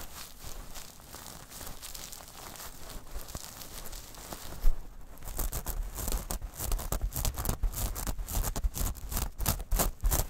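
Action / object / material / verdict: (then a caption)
scrape / metal mesh pouch / metal mesh / none. A small metal mesh clutch pouch is scratched and squeezed with long nails, first while held in the hands and then while resting on a rug. Soft, dry crinkling and scratching rustles throughout, growing into louder, denser bursts of bright scraping with a low thumping undertone after about five seconds.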